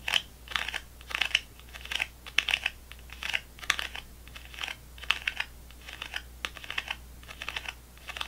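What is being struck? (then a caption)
Plastic gum tray with foil-wrapped sticks. Fingernails tap the foil tops of foil-wrapped gum sticks packed in a clear plastic gum tray. The result is clusters of quick, crisp clicks with a bright, papery crinkle and almost no ring. The taps come in rapid bursts over a faint low hum.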